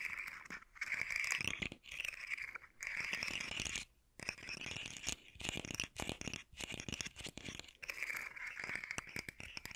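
A hand-sized rainbow fidget slug toy with hollow segments of hard plastic is held in one hand and scratched and tapped with fingertips and nails, making the segments click. Bursts of dry, bright scratching and rapid clicking come in separate bouts with brief silent pauses between them. A thin tonal edge around 2.3 kHz runs through the louder stretches.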